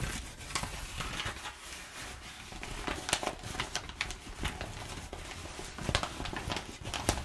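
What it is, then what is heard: Crumpled kraft packing paper. A crumpled sheet of perforated kraft packing paper is rubbed between both hands while long nails scratch and tap it. A steady, crinkly rustle runs throughout, broken by frequent short, bright taps and scratches over a low rumble.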